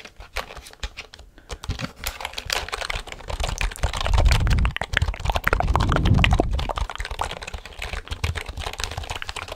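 A full-size black plastic computer keyboard is held up close to a microphone while fingertips and nails tap its keys and back casing. Quick, irregular clicky taps run throughout, with two louder stretches of dense, low, booming tapping near the middle of the clip.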